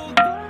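A ringing rock at the Thinthini Pathar site near Darima, Ambikapur, is struck twice at one spot, giving a hollow, pitched knock like a clay water pot being tapped. Each strike rings briefly around 700 Hz over a steady bed of background music.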